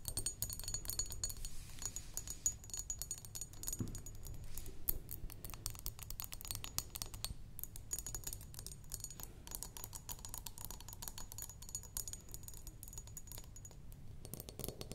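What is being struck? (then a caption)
Glass perfume bottle with liquid. Long nails tap rapidly on the sides and shoulders of a square glass perfume bottle, partly filled with liquid, resting on a wooden table. The clicks are steady and quick, with a bright glassy ring that dies away almost at once over a low background rumble.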